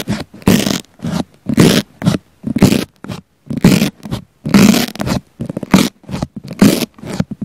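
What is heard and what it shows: A wooden pick topped with a flamingo pokes and scratches the surface of a round pink foam sponge with a small black mic embedded in it. Close, scratchy rustling bursts with a low, soft thump come in uneven strokes about once a second, separated by near silence.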